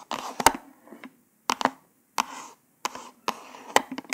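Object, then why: Small cardboard package card. Long pointed nails tap rapidly on a small white cardboard false nail package card. The sound is short bursts of sharp, dry clicks with brief papery scratching in the midrange and bright edges, separated by quiet gaps. The taps die away almost instantly with no ringing.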